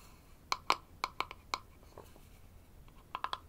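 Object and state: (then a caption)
Small wooden box. Fingertips and nails tap and scratch the sides and rim of a small, open, light-wood box, hollow and empty, held in the hands over a wooden toy tool set. Nine short, hollow knocks with a clear tone near 1 kHz and bright overtones die away almost instantly: six come in an uneven run, then a pause with faint scratching, then three quick taps at the end.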